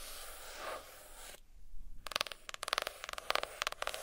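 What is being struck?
Hardcover notebook, cardboard cover.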